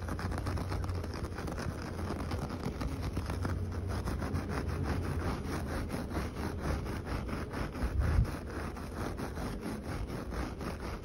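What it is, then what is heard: Coir doormat being scratched. Fingertips and short nails scratch and rub the coarse fibres of a flat, solid coir doormat with coloured stripes, making a steady, rapid rasping texture. A constant low rumble sits underneath throughout, with a brief louder swell around the eighth second.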